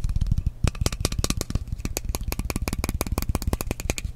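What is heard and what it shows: Fingernails rapidly tap and scratch the side of a frosted glass mist bottle with a metal cap, producing about two dozen quick, dry taps. Each tap has a deep, dull low thump topped by a bright click, cutting off almost instantly with no ring, mixed with light scratching between taps.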